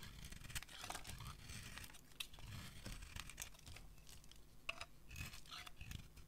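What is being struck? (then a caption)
Bar of soap. A metal utility blade shaves and scrapes flakes off a solid, white, dry, anchor-shaped soap bar held in one hand. The result is a steady run of short, crisp, crunchy scrapes and tearing crinkles with bright, dry edges over a soft low rumble, each stroke stopping dead with no ring.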